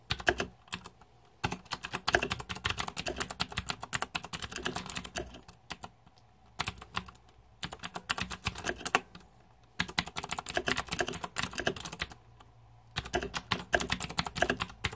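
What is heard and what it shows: Fingertips type on a green-backlit Razer 2014 Deathadder mechanical keyboard with plastic keycaps. Rapid runs of crisp, bright plastic clacks with a short, dry decay come in bursts, separated by brief pauses of near silence.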